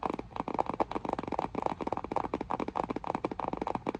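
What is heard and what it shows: Long nails and fingertips rapidly tap and scratch the front face of a medium-size printed cardboard retail box for an Intex inflatable lounge, hollow with the lounge packed inside. The result is a steady run of short, dry, crisp clicks and taps with a papery midrange tone and almost no ring between them.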